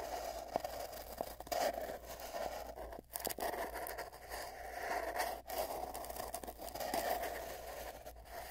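Fingertips at both ends of a long, hollow, empty cardboard tube scratch and rub the cardboard, heard from inside the tube. The dry scraping comes in uneven bursts with brief pauses, and the tube lends it a hollow, boxy resonance around 680 Hz over a faint steady low hum.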